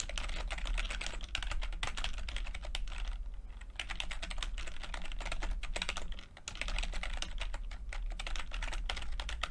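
Fingertips of both hands type continuously on a full-size plastic computer keyboard with red and blue backlit keys and low-profile keycaps. The result is a dense stream of quick, bright clicks over a steady low hum, with brief pauses just past three seconds and around six seconds.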